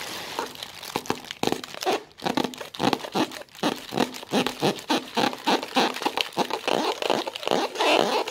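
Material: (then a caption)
Plastic. A thin white plastic carrier bag with a printed logo is held close and crumpled and crinkled between fingertips with long red-painted nails. A dense, rapid run of sharp crinkles and crackles fills the clip, bright and airy with almost no low end. Each burst stops dead with no ring.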